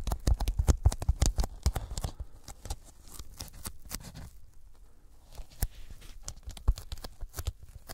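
Sticky fingertips tap a thin white closed-cell polyethylene foam sheet held over the microphones. The result is a rapid, irregular patter of short, dull, bass-heavy thumps, each with a faint bright crackle as the fingers peel away. The taps are denser and louder at the start, thin out in the middle, then pick up again.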